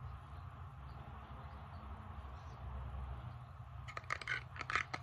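Fingertips and long nails tap and scratch the flat surface of a small, solid bamboo board held close to the microphone. For about four seconds, a soft, low hum carries a faint scratching. Then a quick run of short, dry, bright taps with almost no ring closes the clip.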